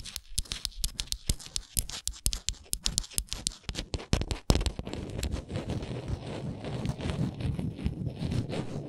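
Long nails work over the ridged edges of a small, solid, printed wooden Canada souvenir ornament held in the hands. For the first half, a quick run of crisp, separate clicks sounds. It then settles into a steady, dense scratching with a low rumble under bright rasping texture.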